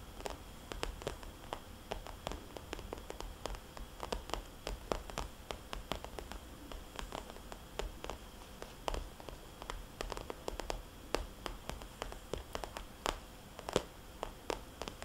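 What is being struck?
Plastic cosmetics bag.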